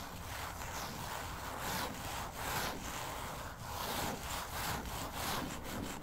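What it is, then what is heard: Glossy paper magazine. Long acrylic nails quickly scratch and tap the cover of a closed glossy paper magazine lying flat on a table. The result is a steady, dry rasping texture with bright, rapid streaks of scratching and light taps woven through, holding an even level for the whole clip.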